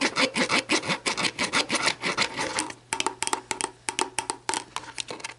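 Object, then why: Plastic drink bottle. Long black nails scratch the label of an empty, hollow, clear plastic sports drink bottle lying on a table with its orange plastic cap on, making quick, bright, raspy strokes. Then they tap and scratch around the cap end, giving sharper, separated clicks with a hollow plastic ring around 900 Hz.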